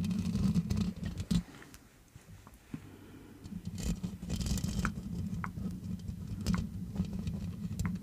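Long manicured nails scratch and tap the black metal mesh grille of a large hollow metal USB condenser microphone. A dense, low rumbling scrape with a hum near 170 Hz is punctuated by sharp, bright taps at an uneven rhythm. The sound dips quieter for a couple of seconds early on before the scratching builds back up.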